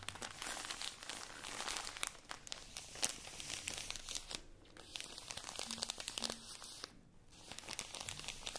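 Long nails and fingertips squeeze and scratch the thin plastic wrapper of a tall, full stack of cotton pads. The result is a dense, bright crinkling with sharp, quick ticks and scratches. The crinkling eases briefly twice before picking up again.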